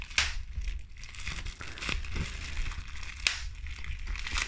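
A large sheet of clear plastic bubble wrap with air-filled bubbles is squeezed and crushed by pink-painted fingertips and nails. Sharp, bright pops stand out over a steady crinkling and crackling of the plastic, with a low rumble underneath.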